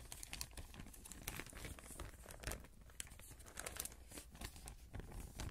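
A thin clear plastic bag is stretched and crinkled between both hands around the microphone. Dense, dry crackling and rustling come through as rapid bright snaps over a low rumble, with brief louder crinkles scattered across the clip.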